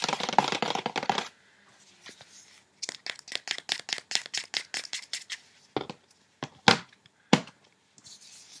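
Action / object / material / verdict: tap / clear plastic insert tray in a cardboard box / plastic / none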